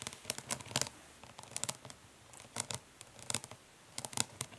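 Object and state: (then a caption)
Plastic makeup palette. Long pink nails of both hands tap fast and scratch lightly on a closed Urban Decay Naked Smoky eyeshadow palette, a flat, hollow rectangular plastic case lying lid up on grey cloth. Clusters of quick, crisp, bright clicks and dry scratchy rustling come in short bursts separated by quiet pauses, each tap stopping dead with no ring.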